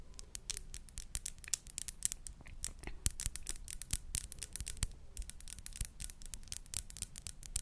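Long acrylic nails tap and scratch along the facets of a small, clear, faceted glass perfume bottle with a silver ring-shaped cap, held close to the mic; the bottle is hollow and its contents are not clearly visible. Quick, dense clicks with bright, sharp edges are heard, mixed with brief scratching between them, over a low steady hum.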